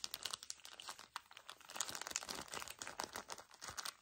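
A small, full pocket pack of paper tissues in a thin plastic wrapper is squeezed and crumpled by the fingers of both hands. The result is a quiet, dense, fast crinkling, bright and crackly with almost no low end, made of short sharp snaps that die away instantly.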